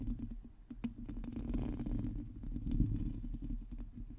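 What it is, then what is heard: Metal mesh microphone grille. A black microphone's hollow metal mesh grille is scratched with long teal nails on both hands. Close, low scratching and rumbling fills the clip, with many quick scrapes and taps over a steady low-end rumble and little high content.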